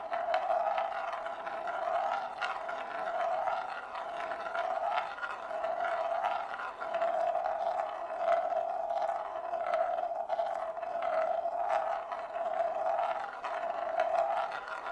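A single dark glass marble rolls in circles on the inner surface of a large, shallow, hollow, empty bamboo plate held in both hands. It makes a continuous hollow rolling hum, pitched around 640 Hz, that swells and fades with each lap, with faint bright clicks scattered through it.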